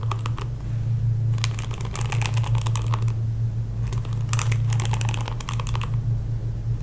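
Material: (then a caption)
Plastic. Fingertips and nails scratch and strum across the dense plastic bristles of a pink plastic paddle hairbrush. Bursts of rapid, bright ticking clicks come and go in uneven clusters over a steady low hum.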